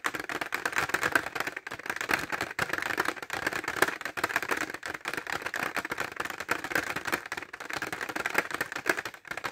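Short fingernails tap fast on a clear plastic pencil case filled with pencils, held horizontally. The result is a dense, continuous stream of crisp, dry plastic clicks with a bright midrange centred around 1.5 kHz, almost no low end, and a very short decay on each tap.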